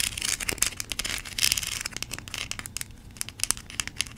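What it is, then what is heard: Plastic toy corn cob. Long pink nails scratch across the kernel ridges of a small yellow plastic corn cob toy. The result is a dense run of quick, bright, crinkly scratches and ticks with very little low end, starting busy and thinning into sparser clicks toward the end.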